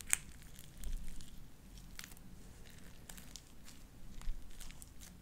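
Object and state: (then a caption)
Sticky slime. Light-blue beaded sticky slime is squeezed and pulled off spread fingers with long dark nails. Quiet sticky, wet popping and crackling, with sharp bright snaps scattered over a low, soft squelching background.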